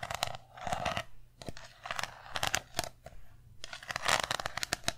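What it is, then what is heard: Small round metal tin. Long nails tap quickly on the lid and white bottom of a small round metal tin, giving sharp, bright clicks that die away almost at once over a faint ring around 645 Hz. Softer scratchy swells of sound fill the gaps between the bursts of tapping.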